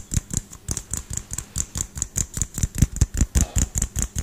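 A small household LED light bulb with a hollow, frosted pinkish-white plastic dome is held in one hand and tapped quickly with the fingertips and nails of the other hand, close to the microphone. About 21 fast, slightly uneven taps produce deep, hollow thuds, each topped with a bright nail click. Every tap dies away almost at once.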